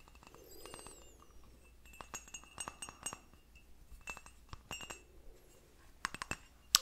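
A small turquoise porcelain teacup, painted with a crane and finished with a gold rim, is held hollow and empty in the hands, turned over, and tapped with fingertips and nails. It gives a scattered run of bright, chime-like clinks that die away almost at once, with a few high whistling tones early on and the loudest clink at the very end.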